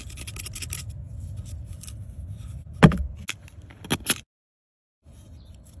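A purple plastic tool scrapes and chisels the white plaster inside a solid gold-painted plaster "Fairy Door" dig block, partly dug out and held by fingers in a cardboard tray. Steady low gritty scraping runs for nearly three seconds, followed by several sharp chipping knocks with bright crackle. The sound then cuts to silence before a faint low rumble returns.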